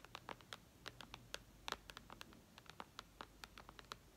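Long red nails tap and scratch across the glass screen of a white iPad lying flat. About two dozen quick, bright clicks ring out over a soft scratchy hiss, each dying away almost instantly.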